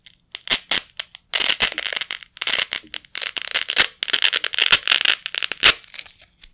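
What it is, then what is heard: Nylon Velcro strip being ripped apart. A pair of small, flat, yellow nylon hook-and-loop Velcro patches is held in both hands with the fingertips and ripped apart over a carpet. Bursts of bright, raspy tearing come in quick stops and starts, some short, some drawn out into longer rips. The sound is almost entirely high and crackly, with no low rumble.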